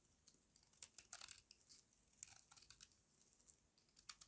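A small metal blade scrapes crunchy flakes off the edge of a solid square bar of dry white soap held in the hand. Quiet, bright, crisp crackles and scratchy bursts come in quick irregular clusters, each dying away instantly with no ring and almost no low end.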